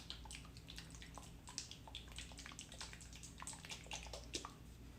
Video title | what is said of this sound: Ceramic Hour 9 - 9.1.2023 - Creating underglaze test tiles | it sounds like the right consistency